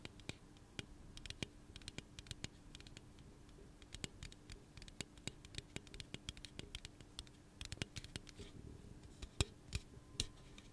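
Fingernails scratch and tap the side of a hollow pink aluminum soda can held in the hand. Dozens of quiet, crisp clicks and scratchy taps with bright edges come in irregular bursts, each dying away almost instantly, over a faint steady low hum.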